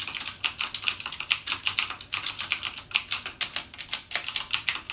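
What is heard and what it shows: Fingertips type rapidly on a backlit mechanical gaming keyboard with plastic keycaps and Cherry MX Blue switches. About 34 sharp, bright clicks come in a quick, uneven stream, each dying away almost at once with almost no low end.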